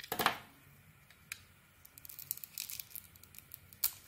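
A solid, dark-coated Isana bar of soap with a cream core is held in the hand and carved with a metal blade. A loud scraping cut opens the clip, followed by soft, bright scratching and crisp flicks as thin shavings come away. A sharp final scrape closes it.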